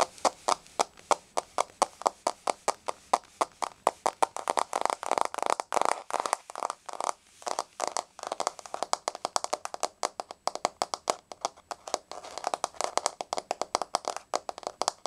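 Long polished nails tap on a solid, flat, wood-grain laminate floor in a quick galloping rhythm. Each tap is a short, dry, midrange click with no low end and almost no ring. The taps bunch into a dense flurry around the middle of the clip before settling back into steady gallops.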